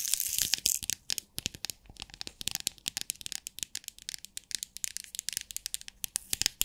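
A small clear plastic bead organizer box with compartments of beads is held close to the mic while long nails tap and scratch on it and the box is shaken. Rapid, dry, bright clicks and crinkly scratching come with loose rattling of the beads, with almost no low end and no ring after each tap.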